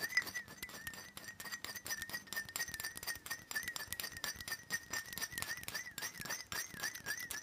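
Fingernails tap rapidly on the base of a black glass perfume bottle held steady. The result is a dense, quick patter of sharp, bright clicks over a steady high whistle-like ringing tone near 2 kHz, with almost no low end.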